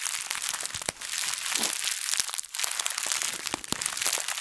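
A translucent, thin plastic bag is bunched up, squeezed and twisted by both hands. It gives a steady, bright crinkling full of sharp, quick crackles, with almost no low end.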